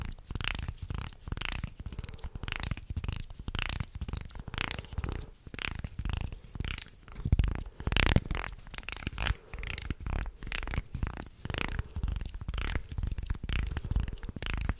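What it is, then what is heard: Wooden segmented shark toy. A wooden segmented, articulated shark toy is bent and twisted with both hands while fingernails run over its segment ridges. It makes a steady stream of quick, dry clicking and ratcheting bursts with a heavy low thump and bright, scratchy edges, with a few louder grinding surges along the way.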